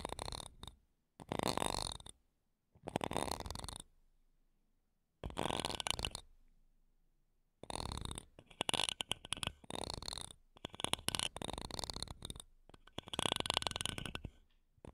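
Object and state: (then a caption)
Metal microphone grille being scratched. Small silver condenser microphones with metal mesh grilles have their mesh tops scratched by wooden toothpicks held between long nails. Close, bursty rasping scratches come in separate bouts with brief silences between them, bright and gritty with a faint low rumble underneath.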